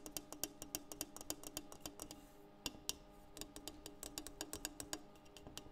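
A French press is tapped in a quick, uneven series of light, sharp taps. Each tap is a crisp click with a faint tone around 300 Hz that dies away almost at once, with a short pause in the middle before the tapping resumes.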